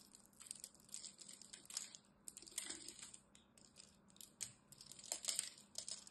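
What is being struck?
Bar of soap.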